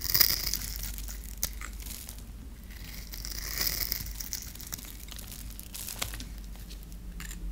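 A solid, dry, rectangular purple bar of soap is held in the hand and shaved and scraped with a metal blade, with curls and flakes coming off. The blade gives quiet, crisp, crunchy scraping with a bright, papery crackle, in an uneven run of short strokes, a sharper scrape near the start and a few brief clicks later. A low rumble sits steadily underneath.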